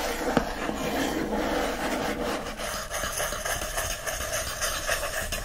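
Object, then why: Hardcover book paper endpaper. Fingertips and nails rub and scratch the bright green patterned paper endpaper of an open hardcover book. The result is a steady, dry, papery scratching texture that spans from low to bright, with a brief sharper tick near the start and small, uneven swells as the strokes shift.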